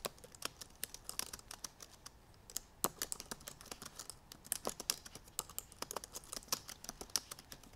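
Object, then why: Laptop keyboard with plastic keys on an aluminum body. Both hands with long painted nails type rapidly on the black plastic keys of a silver aluminum MacBook Pro keyboard. A fast, uneven stream of dozens of crisp, bright, clicky taps is heard, each dying away almost instantly. There is a brief lull around the two-second mark.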